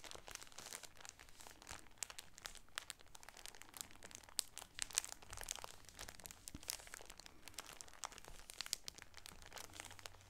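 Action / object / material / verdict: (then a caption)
scrape / shower curtain in a plastic bag / plastic / none. A cream shower curtain in a clear plastic bag is squeezed and crinkled by both hands using the nails. The result is a dense, continuous stream of quiet, bright plastic crinkles and crackles with sharp high snaps scattered throughout, over a faint low hum.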